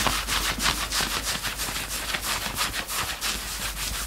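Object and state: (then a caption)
Fingertips scratching knit fabric. Both hands quickly scratch and grab the grey chest fabric of a worn two-tone knit sweatshirt with their fingertips. A rapid, dry, bright scratching and rubbing repeats about three times a second in a steady, slightly uneven rhythm, with little low-end weight.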